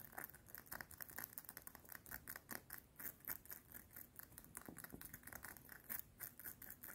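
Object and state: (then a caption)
Metal chain necklace. Long painted nails rapidly tap and scratch along a small, worn, solid gold-tone metal link necklace with star-shaped links, worn at the neck with a cardigan collar close by so some fabric contact may be heard. Dense, fast runs of short, bright metallic clicks and ticks blend with soft scratchy rustling, with no ring after each tap.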